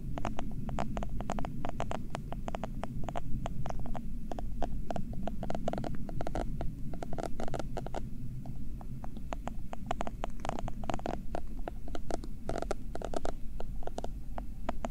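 A purple silicone bristle pad, held in the fingers, has its bristle edge scratched repeatedly against the left mic capsule. Quick, dry, bright scratchy ticks come in a dense, uneven patter over a steady low hum. The strokes stop dead with no ring.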